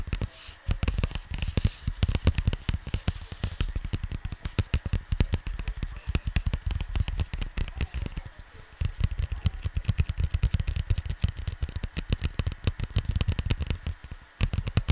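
Fingertips tap quickly and rub across the surface of a cardboard LP record sleeve. The result is a dense stream of short, dull, low thumps with very little ring and faint papery crackle above. The taps ease off briefly around the middle and again just before the end.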